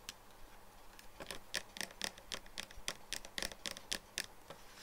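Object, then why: Plastic bottle with plastic cap. Nails and fingertips tap the body and black plastic cap of a clear plastic nail polish remover bottle, full of pink liquid and lying on a wooden table. The result is a quick, uneven series of short, dry, bright clicks centered near 1.8 kHz, with no ring after each tap.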